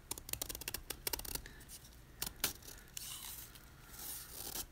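A snap-off utility knife blade scrapes the top edge of a solid white gym chalk block (magnesium carbonate) held in hand, making a quick run of short, crisp, bright scratching bursts with two louder cuts in the middle. It ends in softer, hissy crumbling as chalk flakes break off.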